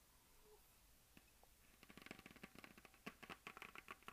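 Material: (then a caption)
Plastic. Long nails and fingertips scratch across a hollow plastic map globe on a stand. After a near-silent first second and a half, a fast run of crisp, bright scratches and clicks builds, with a light hollow plastic tone under each short stroke.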